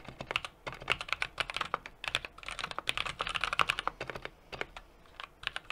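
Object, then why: Mechanical keyboard with aluminium case, brass plate and plastic keycaps. Steady two-handed fingertip typing on a 60% mechanical keyboard with an aluminum case, brass plate and plastic keycaps. The keystrokes come in a fast, uneven stream of short, crisp clicks with bright upper tones, with a couple of brief pauses.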